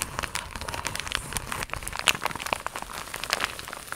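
Long acrylic nail tips tap and scratch an iridescent, croc-embossed holographic plastic mailer pouch that is slightly bent. The result is a dense run of quick, crisp, crinkly ticks and scrapes, bright and high with almost no low end. Each tick stops instantly with no ring, with a few sharper taps standing out near the middle.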